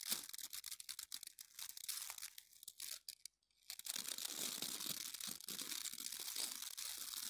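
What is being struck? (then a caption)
Plastic bristle scrub brush. Fingertips and nails rub and scratch the dense yellow and orange plastic bristles of an oval scrub brush with a white plastic base, held in both hands. The result is a bright, crackly, rapid scratching with a brief pause near the middle before it resumes steadily.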